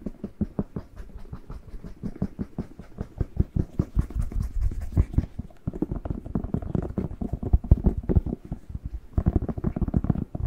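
A whole, fresh, hollow, hand-sized red bell pepper is turned in the hand while fingertips and nails tap and scratch its surface. The result is a rapid, continuous patter of short, dull, low thumps with hollow knocks and faint scratchy rasps. Each hit dies away almost instantly.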